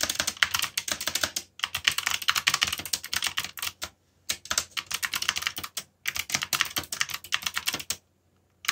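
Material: Plastic.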